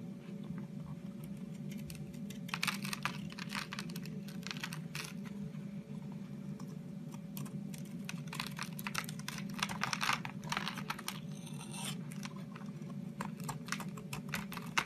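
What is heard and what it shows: An orange oval bar of Camay soap rests in a palm with long red-painted nails while a utility knife blade scrapes and shaves curls off its edge. Quick, crisp, bright scraping ticks come in dense bursts over a steady low hum.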